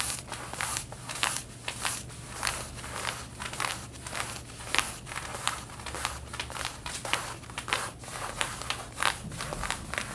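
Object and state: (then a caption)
Denim jeans scratched with fingernails. Long red-painted nails scratch the back pocket of light blue denim jeans being worn, making quick, irregular, dry rasping strokes with a bright, crinkly texture. A steady low hum runs underneath throughout.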